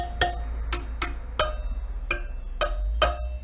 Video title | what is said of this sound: 2008 DR200 Hasn't run in a year | listen for any dull sounding spokes